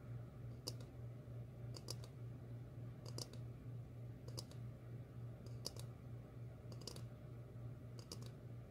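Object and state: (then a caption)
Ceramic bowl tapped with fingernails. Long fingernails tap a medium, glossy red ceramic bowl that is hollow, empty and held upside down. The taps come in short, bright clicking clusters, often as quick doubles, and die away almost instantly with no ring. A steady low hum continues underneath throughout.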